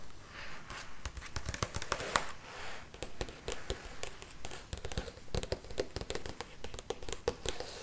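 Long red nails tap and trace across the glossy printed pages of a large open hardcover art book held in hands, with an "ART" spread showing. Quick, irregular sharp clicks land over a soft papery brushing and rustle. Each tap is short and dry, dying away almost at once.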